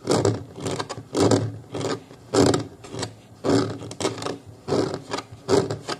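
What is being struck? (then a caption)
Molded plastic booster seat shell. Fingers of both hands scratch and rub along the plastic ridge near the foam-covered bottom edge of a booster car seat's hollow molded plastic base. The result is repeated, uneven bursts of dry, rasping scraping, each with a short hollow resonance around 400 Hz.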